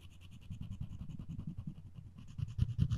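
A floss string is rapidly rubbed and scratched across the edge of a solid wooden spoon handle. It makes a low, rumbling, buzzy friction sound with a steady hum around 113 Hz, broken by quick repeated scratchy strokes and faint bright ticks. The strokes grow louder and harsher toward the end.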